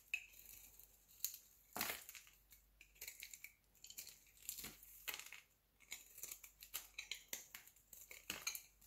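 A solid white oval bar of soap held in the palm is shaved into curls with a utility knife blade. Quick, dry scraping strokes crackle with bright, crisp clicks and leave a short, dry tail, with almost no low end.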